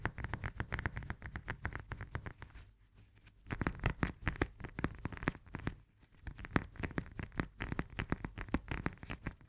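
Long nails rapidly tap and scratch the peel of a whole, solid fresh lemon held in both hands. The result is a dense stream of short, dry, muffled clicks with scratchy bursts and little ring. Two brief quiet pauses break the run.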